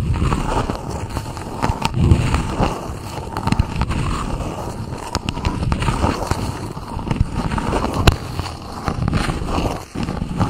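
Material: Plastic.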